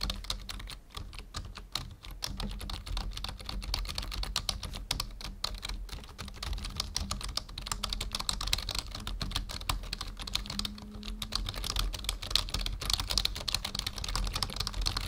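Fingertips of both hands type steadily on a full-size black plastic membrane keyboard resting on a wooden desk. The result is a continuous stream of quick, bright, dry key clicks and soft thocks that die away almost instantly, over a faint low hum.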